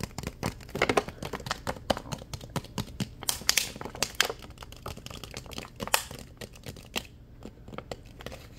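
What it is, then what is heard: Plastic water bottle tapped and scratched. Fingertips and nails tap and scratch the ribbed sides of a clear, thin plastic water bottle that is partly full of water and capped. The result is a fast, uneven string of sharp, bright crinkling clicks and scratchy rasps, each dying away almost instantly, over a faint low hum.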